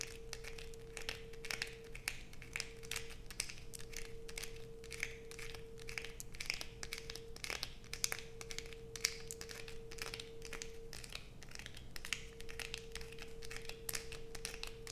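Long acrylic nails rapidly scrape the grooves of a solid blue bar of soap held up in the air, sending shavings falling. The result is a dense, continuous run of quick, bright, crinkly scratches over a faint steady low hum, lasting the whole clip at an even, quiet level.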